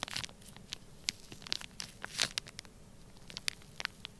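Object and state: Kinetic sand in a plastic bag.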